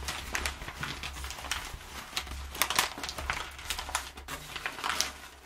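A hand with long nails scratches and scrunches the edges of crumpled, perforated kraft packing paper. The result is a steady run of bright, dry crinkles and crackles with short sharp bursts, over a faint low hum.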